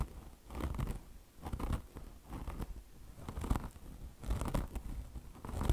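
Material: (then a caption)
Foam. Long blue nails scratch deeply at a beige car wash sponge with a mesh top, chenille fringe and a soft foam body. Repeated bursts of rough, crackly scratching swell and fade, with a dull low rumble under a faint bright hiss.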